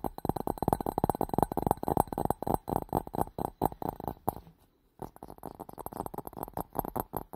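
Fingertips and nails tap rapidly on an empty, hollow clear glass bowl with a green rim held around the mic, giving a fast run of short, dull knocks with a resonant tone near 800 Hz. The tapping pauses briefly for about half a second, then resumes at the same quick pace.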